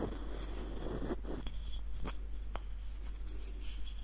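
Fingertips and nails scratch and tap a small, hollow, light-wood nutcracker with a threaded screw. Soft, dry scratching is broken by short, sharp taps on the wood, each dying away almost at once. A steady low hum sits underneath the quiet sounds.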